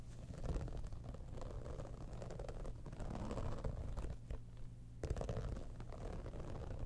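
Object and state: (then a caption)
Textured faux-leather cosmetic bag. Long nails on both hands scratch and tap the top surface of a hollow, embossed holographic textured faux-leather cosmetic bag. The result is a quiet, steady stream of dull, muffled, low-pitched scratching and soft thuds with almost no brightness. A sharper burst of taps comes near the five-second mark before the scratching settles again.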